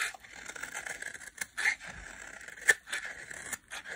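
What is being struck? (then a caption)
Bar soap cut with a metal blade. A metal blade carves a solid yellow bar of dry soap with a dotted pattern, held in the hand, into thin strands. The result is a run of dry, bright scraping and cutting strokes with short gaps between them, each one dying away almost instantly.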